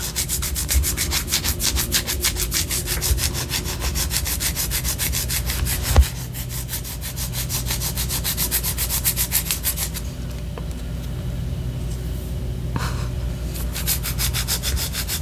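Long orange nails scratch a white solid wax pillar candle held low, producing a steady run of quick, rhythmic rasping strokes with a bright, papery edge over a low rumble. A sharp knock sounds near the middle. After that, the strokes grow softer and duller for a while before the brighter scratching returns.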